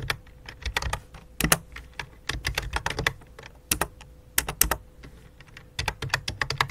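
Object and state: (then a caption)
Plastic computer keyboard being typed on. Fingertips with dark-painted nails type rapidly on a full-size white and light-blue plastic computer keyboard with a hollow plastic body, resting on a black cloth. Quick bursts of sharp, bright key clicks fall in uneven clusters with brief pauses, each click dying almost instantly over a faint low hum.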